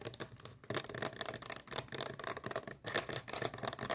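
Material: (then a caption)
Plastic. Long painted nails rapidly tap and scratch the surface of a small, hollow teal plastic sunscreen tube held in both hands. The sound is a fast, dense run of bright, crisp clicks and scratchy rubbing with very little low end, broken by a few brief pauses.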